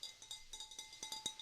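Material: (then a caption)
Glass. A glass vase is tapped again, ten light taps that show how different materials give different sounds. Each tap gives a bright, high-pitched glassy ping around 3.8 kHz that dies away almost at once, with steady faint ringing tones underneath.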